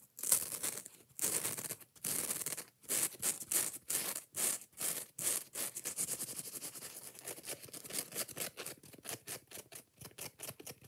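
Long nails scratch quickly along the green abrasive edge and the yellow foam of a kitchen scrub sponge held up in the air. The scratching comes as bright, hissy bursts, longer strokes at first and then shorter, faster ones toward the end.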